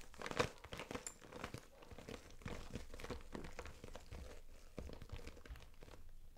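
Long nails and fingertips scratch and rub the front of a clear daisy-print PVC vinyl cosmetic bag, held upright and full of brushes and compacts. The plastic gives a dense, continuous crinkling with quick, dry scratches and soft low thumps, steady and quiet throughout with no ring after each touch.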